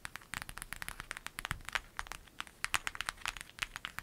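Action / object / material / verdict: scrape / clear vinyl zip bag / vinyl / none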